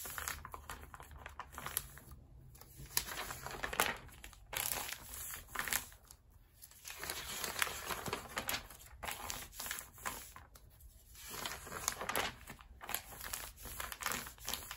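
A hand flips a page of an open glossy paper magazine lying on a rubber mat, then the palm and fingers rub and press the page flat against the spine. The result is steady, bright crinkling and rustling of paper in uneven bursts, separated by brief quiet pauses.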